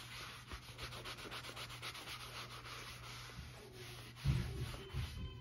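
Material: Leather.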